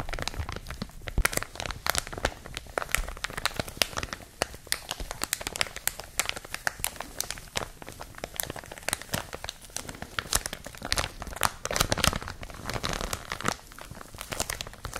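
A clear plastic film bag wrapped around a product is crinkled and squeezed by fingertips and nails. Dense, bright crackles and crinkling snaps come in quick, irregular bursts throughout, with no lingering ring.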